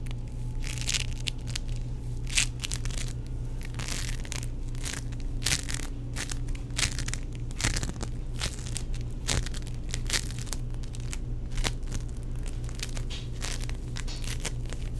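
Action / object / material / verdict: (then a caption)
scrape / foam-bead play foam / foam beads / none. A palm-sized, solid purple lump of tiny sticky foam beads is flattened against a palm, then squeezed and kneaded in the fingers. It gives a continuous stream of bright crackling, crunching pops over a steady low hum.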